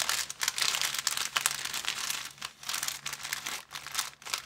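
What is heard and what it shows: A thin, empty, transparent plastic bag is squeezed and crinkled by hands, giving a continuous, dense, bright crackling that swells and dips for about four and a half seconds. The sound sits almost entirely in the high range, with no low end. Faint steady hum lines run underneath.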